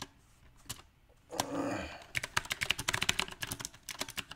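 Fingertips of both hands type on a compact backlit mechanical keyboard with round plastic typewriter-style keycaps. A few scattered sharp clicks and a soft, brief rushing swell give way to a fast, uneven run of bright, crisp key clacks. Each clack stops dead with almost no ring.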